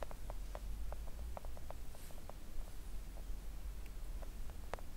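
Long acrylic nails gently tap a flat pink silicone nail art mat lying on a table. The taps are soft, short clicks scattered over a steady low hum, each dying away almost instantly.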